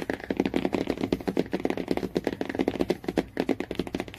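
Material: Cardboard.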